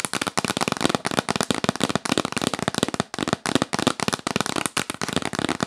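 A hollow yellow printed cardboard gift box held upright is tapped fast with long nails, giving dense bursts of sharp, crackly clicks that run almost without pause, with a hollow body and bright edges.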